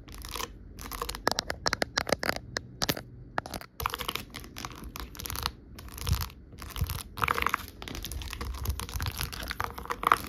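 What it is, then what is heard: Plastic bump dome sheet. Long nails tap and scratch over a white plastic sheet of many small hollow half-dome bumpers. Quick, dry, clicky taps mix with crinkly, crackling scratches that have no ring. Bursts of rapid tapping alternate with brief quiet gaps.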